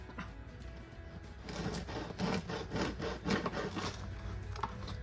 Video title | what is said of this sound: The Ultimate No Knead Focaccia Bread! | you can hear how crispy it is